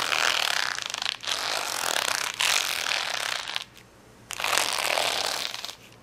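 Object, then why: Plastic rhinestone sticker sheet. Fingernails scratch across a large, flat plastic rhinestone sticker sheet of rainbow acrylic gems, producing a dense, bright, crackly rasp. The scratching comes in several sustained passes separated by brief dips, with a short quiet gap before the final pass.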